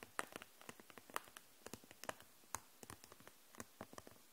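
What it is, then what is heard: Plastic marker case. Long nails tap on the caps of dual-tip markers and on the clear plastic case holding them upright, about 22 light, quick clicks that die away almost instantly. The taps are crisp and bright with little low end, scattered irregularly over a quiet background.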